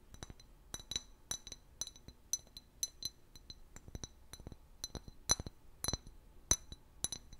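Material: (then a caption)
Glass. Long fingernails tap on a large, hollow, empty clear glass liquor bottle with a paper label. The taps come as a string of sharp, bright clinks at an irregular pace, each with a high glassy ping that dies away almost instantly.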